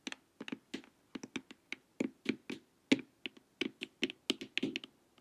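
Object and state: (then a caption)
Hard plastic face mask tapped with nails. Long nails tap and scratch the edges and forehead of a hollow, hard plastic LED face mask. There is a quiet, uneven run of about twenty short, dry, clicky taps, each with a hollow low-mid knock and a bright, crisp tick that stops almost at once.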